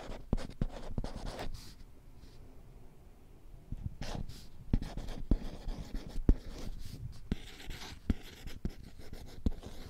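Long painted nails scratch and tap across the glossy printed surface of a small, flat children's alphabet whiteboard with a green plastic frame, held in one hand close to the mic. Soft scratchy rubbing is broken by sharp, dry taps that die away almost instantly, with a quieter stretch early on. The sound is close, muffled and heavy in the low end.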